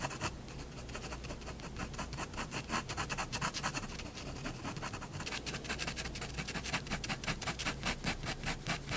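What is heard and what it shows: A hand draws with a fine pigment fineliner pen on a large white paper sheet lying flat on a wooden desk, making scratchy hatching strokes on a cat drawing. A rapid, steady series of short, bright scratches repeats over a low background hum, speeding up and growing crisper in the second half.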